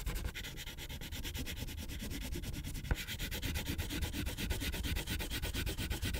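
A pink wax crayon is rubbed in fast, short strokes across a thin white paper coloring page on a clipboard, with the other hand resting nearby. It makes a steady, rapid, dry scratching rasp with a bright hiss over a low rumble. One sharper tick comes near the middle.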